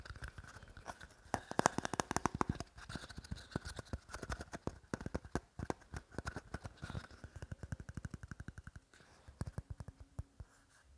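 Fingertips and short nails rapidly tap and scratch the surface of a small, hollow, purple plastic goblet-shaped cup with a short stem, held in both hands. A fast stream of sharp, dry clicks and light scratchy rubs comes with a faint hollow tone, and each tap stops almost instantly with no ring. After a brief lull near the nine-second mark, the tapping resumes more softly.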